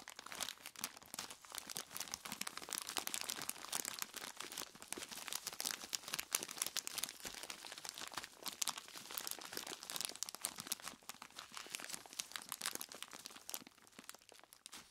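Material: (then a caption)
Plastic. Long plastic claw tips press into and scratch a large clear plastic bag full of ice cubes. The result is a steady, dense stream of bright crinkling and crunching for the whole clip, with many quick, sharp clicks and almost no low end.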